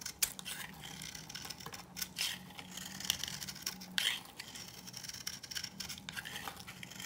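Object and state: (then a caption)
Dry bar soap shaved with a knife. A knife blade scrapes along a hand-held, dry, old coral-pink bar of soap, shaving off flakes. The result is a steady run of crisp, bright, dry scratching with a few louder rasps. A faint low hum sits underneath.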